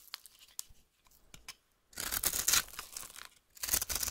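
A metal knife cuts and scrapes a solid orange oval bar of soap held in the hand, shaving it into crunchy flakes. A few faint, sparse clicks give way to dense, bright, crackling scraping bursts with a short pause between them.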